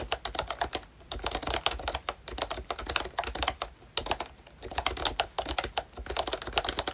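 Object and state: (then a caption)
Plastic membrane keyboard being typed on. Fingertips of both hands type steadily on a full-size pink ROYCHE Disney Mickey Mouse retro keyboard with a plastic case, round dark green plastic keycaps and membrane switches. The quick runs of short, soft plastic taps have a bright click and a mid-range clack. They come in bursts separated by brief pauses.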